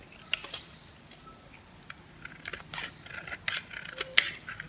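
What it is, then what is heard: Dry bar soap, crunchy. A metal blade scrapes across the cut face of a hand-held, hand-sized dry white soap bar with blue and yellow painted edges, shaving off crunchy chips. Short, bright, dry crackling scrapes come in uneven bursts over a quiet background, each dying away almost instantly.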